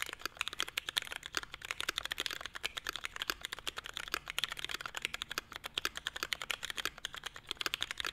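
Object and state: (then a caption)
Mechanical keyboard typing. A Forever 65 mechanical keyboard (65% layout, small hollow navy case, carbon fiber plate, Hyperglide MX Brown switches, grey and white double-shot ABS keycaps) sits on a desk mat and is typed on with both hands' fingertips. A rapid, steady stream of short, bright clacks comes through with almost no low end and no ring after each keystroke.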